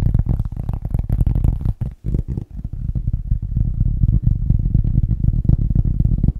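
A cork object is tapped fast and aggressively with the fingers. The result is a dense, rapid stream of dull, low thuds with almost no high-frequency content and no ring after each tap. There is a brief pause near the two-second mark.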